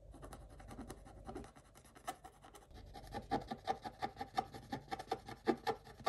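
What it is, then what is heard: Scratch-art paper being scraped. A wooden stick scrapes the black coating off a scratch-art paper page, and the coating flakes away as the picture shows through. It starts as a soft, continuous dry scratching, then turns into a quick, uneven run of short, crisp scraping strokes in the midrange with faint bright edges.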